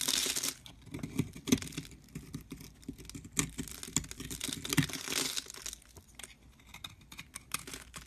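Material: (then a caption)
Soap. A metal blade scrapes crumbly shavings off a solid cream-colored soap bar held in the hand. The sound is a dense run of dry, crisp scraping and crackling with bright, high texture and a soft low body, swelling in a few louder bursts before easing into quieter scratches.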